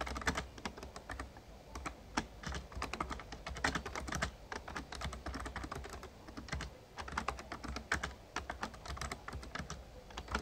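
Fingertips of both hands type rapidly on an RGB-backlit plastic Razer Ornata Chroma membrane gaming keyboard with a hollow casing. A steady stream of soft, hollow clicky key taps carries bright clatter, with a faint low hum underneath throughout.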